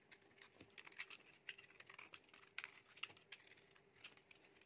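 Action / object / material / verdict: scrape / bar of soap scraped by a metal knife blade / soap / none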